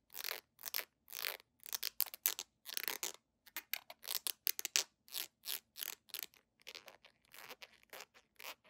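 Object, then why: Small hollow plastic squeeze tube. A small, hollow, red-and-white Webber plastic squeeze tube is held in both hands and scratched with long nails along its body. About 25 quick, separate bursts of bright, dry, scratchy rasping come in an uneven rhythm. They have almost no low end and stop dead after each stroke.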